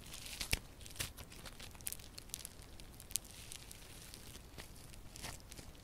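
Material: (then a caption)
Slime. A solid lump of yellow crunchy foam slime with a foam-bead texture is squeezed and kneaded by both hands with long purple nails. It gives a steady, quiet crackle of bright little pops and crunches, with a few sharper snaps standing out along the way.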